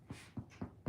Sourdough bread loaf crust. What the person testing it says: So they say when you knock on it, right? Hollow.